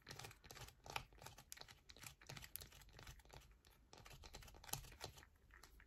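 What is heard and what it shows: A solid yellow bar of soap held in both hands is scratched fast with long nails, with shavings piling up below. A dense run of quick, crisp, crinkly scratches with bright edges and soft low thuds fills the clip, with a few sharper accents along the way.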